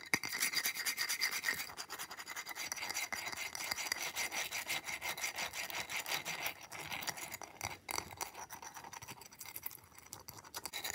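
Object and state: Ice block.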